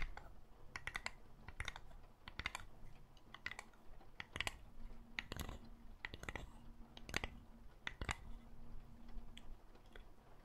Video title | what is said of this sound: THE ULTIMATE ASMR TRIGGER BATTLE - TAPPING VS. MIC SCRATCHING | It's made out of wood, and for me, the sound is soft and pretty clear. Pretty clean.